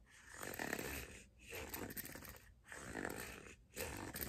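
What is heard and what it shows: Long dark-painted nails scratch and rub along the surface of a long, hollow, empty teal hard-plastic figure skate blade guard held in both hands. The result is a soft, broadband rasping scrape with a bright edge, running in continuous strokes broken by three brief pauses.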